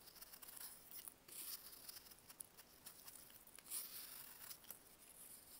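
A box-cutter blade carves into a solid block of dried baking soda, making quiet, bright, dry scraping and crunching sounds with crisp ticks as pieces crumble off.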